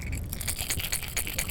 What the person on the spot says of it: with a much harder knock as compared to the rattles so it's a more dominating sound